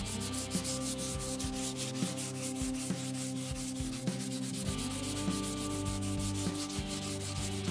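Fingertips press a small piece of pink sandpaper and rub it back and forth along a long, solid, unfinished light wooden (maple-like) Telecaster guitar neck lying on carpet. Steady, scratchy sanding strokes make a rhythmic rasp with a bright, hissy top. A sustained low tonal hum runs underneath throughout.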